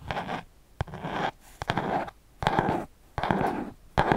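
Fingertips tap and scratch along the page edges and spine of a small spiral-bound paper notebook held sideways. Sharp taps launch bursts of dry, papery scratching that come and go at an uneven pace, with quiet gaps between them.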